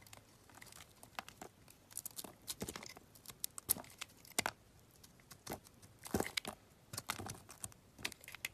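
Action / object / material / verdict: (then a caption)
scrape / bar of soap cut with a metal blade / soap / none. A metal utility knife blade carves curls and chunks off a solid pink bar of soap with a dark outer layer, held in hand. Quiet, crisp scraping and crackling bursts repeat irregularly, bright and dry with almost no low end. Each cut stops dead, with no ring.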